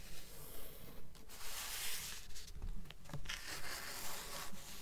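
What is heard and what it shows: Long nails rub and scratch across the glossy card cover of a thick blue paperback book held upright. Seven steady, rhythmic scraping strokes swell and fade with a dry, papery hiss and a soft low rumble underneath.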